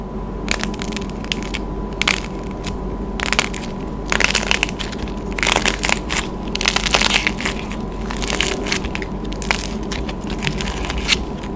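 Both hands squeeze a palm-sized pastel swirl clay lollipop on a wooden stick, cracking the thin hardened painted clay shell with their fingers and flaking it off the soft orange clay core. Dense, bright crackles and crunches come in quick bursts over about twelve seconds, each snap dying almost instantly, with a faint steady hum underneath.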